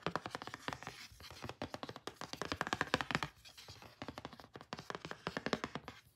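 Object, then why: Thin cardboard card. A small, thin, solid pink printed cardboard photo card is held in the hand while fingertips and short nails rub, trace and lightly tap its flat surface. The result is a quick run of dry, crisp taps and scratchy rubbing with almost no ring, pausing briefly before picking up again.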